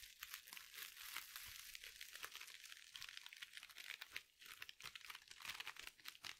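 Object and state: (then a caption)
Glitter mesh scrub sponge. Long nails scratch and squeeze a small, soft glitter mesh scrub sponge with a sparkly mesh cover. The result is a dense, continuous run of bright, crinkly, scratchy crackles with almost no low end.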